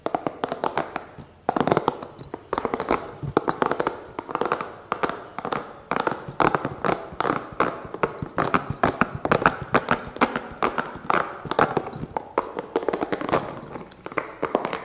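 A small, hollow, green spiky massage ball of rubber or soft plastic is held in one hand close to the mic and tapped and scratched quickly with fingertips and nails. It makes a dense run of fast, dry, clicky taps and scrapes with a hollow mid-range tone around 1.3 kHz. The hits die away almost instantly, with short pauses between bursts.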